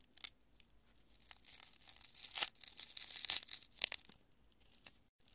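A large, solid, porous chunk of cured polyurethane expanding spray foam is held in both hands and crushed and torn with fingers and long nails. It gives a quiet string of dry, bright crackles and tearing crunches with almost no low end, building to the loudest snaps in the middle before trailing off.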